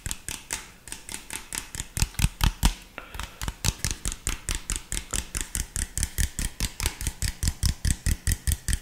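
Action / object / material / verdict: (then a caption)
tap / plastic drink bottle / plastic / none. Fingertips and nails tap and scratch an empty, hollow clear PET drink bottle with an orange label. About forty quick, fairly even taps each pair a deep hollow thump with a bright clicky edge, dying away almost instantly. The taps grow louder around the two-second mark, then settle into a steady rhythm.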